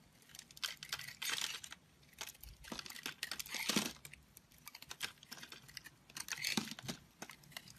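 A square blade scrapes flakes off an oval, solid blue-and-white marbled bar of soap held in the hand. Dry, crisp scraping and crackling bursts come in irregular runs, mostly bright and high with little low end, and each cuts off with no ring.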